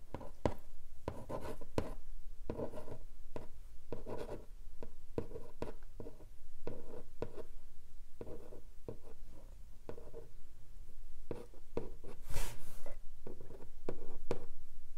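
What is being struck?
Long flat cardboard box lid.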